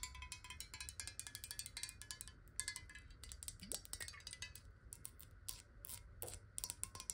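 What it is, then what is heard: Glass water bottle. Long acrylic nails tap quickly on a clear, square, hollow glass water bottle that is partly filled with water and held in both hands. Dense, rapid, bright clicking taps carry faint glassy ringing tones that die away almost at once, over a steady low background hum.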